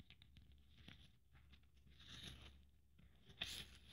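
Fingernails scratch over the beads and glitter of a blue beaded glitter Christmas ornament held in the hand, making a quiet, bright, crackling rasp over a low hum. The scratching swells around the middle, then a sharper scrape near the end gives a brief bright burst before it settles back.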